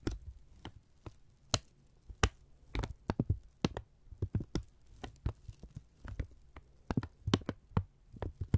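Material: Paper.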